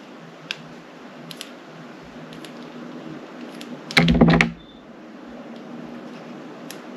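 A solid chunk of translucent teal glycerin soap, held in the fingers, is cut into pieces with a metal utility knife blade. Faint, sparse ticks over a steady low hiss build to a short, dense burst of crisp crackling and a low thud as the blade slices through. The sound then settles back to quiet and ends on a sharp click.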